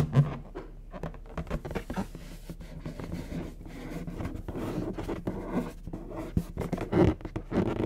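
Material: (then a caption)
Latex. Fingertips and short nails scratch and pat the surface of a medium orange latex balloon, inflated with air and hollow. It gives a steady run of soft, dull rubbery scratches broken by quick muffled pats, with the sound sitting mostly low and dying away almost at once.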